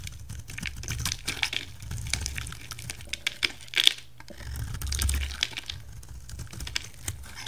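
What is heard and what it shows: A solid yellow oval bar of soap, held in one hand, is shaved along its rim with a utility knife, and crumbly yellow curls fall off. The blade makes a steady run of bright, crisp scraping crackles and clicks over a soft low rumble, with a sharper snap near the middle. The soap surges slightly louder again toward the end.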